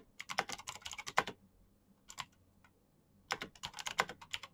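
Fast typing with the fingertips of both hands on a black Razer mechanical keyboard with plastic keycaps and clicky switches. A quick run of sharp, bright clicks is followed by a brief pause with a couple of isolated strokes, then another rapid burst. Each click is crisp and dies away almost instantly.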